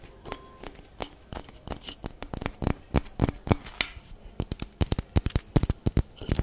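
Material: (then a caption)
Citrus peel. A whole orange with a textured peel is held in the hands and scratched and tapped with long fingernails. It gives a rapid, uneven series of sharp, dry clicks and scratchy rasps with bright edges and no ring after each stroke.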